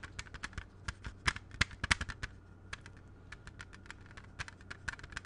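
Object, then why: Plastic CD jewel case. A closed, hollow plastic CD jewel case with a red cover is held in both hands and tapped rapidly with fingertips and nails, giving about twenty short, dry, bright clicks at an uneven pace. The taps stop ringing almost instantly, some land louder than others, and there is a quieter stretch in the middle over a faint low steady hum.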